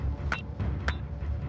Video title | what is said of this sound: The Bizarre Evolution of Australia (Full Documentary) | bang it together it sounds like metal and this stuff is heavy